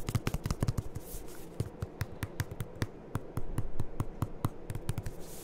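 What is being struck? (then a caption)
Plastic lotion pump bottle. A medium white plastic Aveeno lotion pump bottle, hollow and seemingly partly full, is held in both hands and tapped with the fingertips. It gives a quick, uneven run of soft, dull taps, each a low hollow thud with a sharp, bright click on top. The taps die away almost at once.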